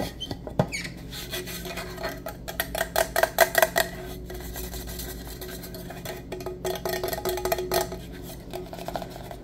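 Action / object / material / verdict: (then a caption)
tap / insulated stainless steel tumbler with lid / stainless steel / none. Fingertips and nails tap and scratch the body and rim of a black-coated insulated stainless steel travel mug with its lid on, held upright and then tilted. The hollow mug gives quick, irregular clicks and brief metallic pings with a ringing tone around 645 Hz, over soft scratching and a steady low hum. The taps come in clustered bursts, loudest in the middle of the clip, with bright, short-lived overtones.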